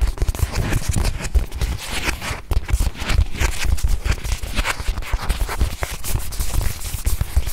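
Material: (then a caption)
Faux leather. A small white padded faux-leather watch pillow, held in both hands, is tapped quickly and continuously with long nails. The taps are soft, muffled, short thuds with most of their weight in the low end and little high sound, each dying away almost instantly.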